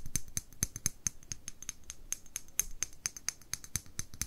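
Long nails rapidly tap and scratch a small amber glass dropper bottle, likely holding liquid, with a paper label and a dropper cap, held in one hand. Each quick, dry tick carries a high, bright glassy ping that dies away almost at once, with soft scratching between the taps.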